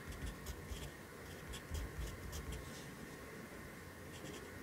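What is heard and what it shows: A yellow pencil writes on the lower right page of an open lined paper notebook resting on a desk. Soft, bright scratching strokes come in short bursts over a steady low rumble, holding at a quiet, even level throughout.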